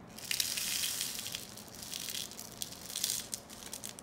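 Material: Cardboard.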